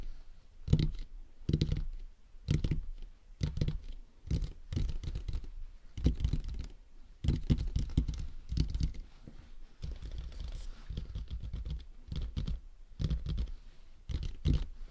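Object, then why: Plastic dummy head microphone. Fingertips tap the top of a matte black, hollow, hard plastic dummy head microphone near its mount. The result is close, dull, low thumps in quick bursts, with a short, hollow knock and almost no high end.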